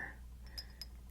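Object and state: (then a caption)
Glass perfume bottle. Natural fingernails tap a 5 fl oz Bvlgari Eau de Cologne glass perfume bottle, chosen over other nails because they are less abrasive and more forgiving. A few light, glassy, high-pitched clinks ring briefly over a steady low hum.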